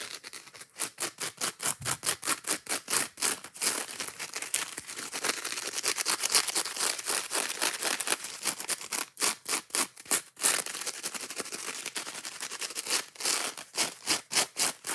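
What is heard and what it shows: Long nails scratch fast and hard across a worn, frayed green scouring pad on a yellow foam sponge. The result is dozens of rapid, dry, bright rasping strokes, about four per second, with short stretches where the scratching blurs into a continuous scrape. Each stroke dies away almost instantly, and there is no low end.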